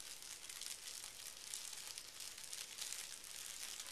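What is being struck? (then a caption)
Thin tissue paper sheet. One hand rubs and scratches a large, flat sheet of thin pink tissue paper lying on carpet, using fingertips and short nails. The result is a steady, soft, bright crinkling rustle with little low end, continuing without clear breaks.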